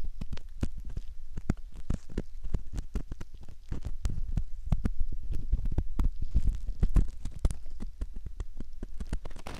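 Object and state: Silicone ear model scraped with a metal pick.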